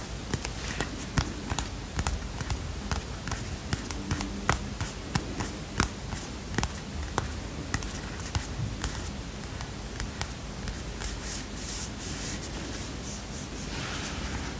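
A tiny paper notebook with a green cardboard cover is held in one hand while fingertips rub, scratch and lightly tap the cover. A steady series of soft, short, dry taps comes first, then the sound shifts toward a continuous bright scratching rustle near the end. Low background rumble sits underneath throughout.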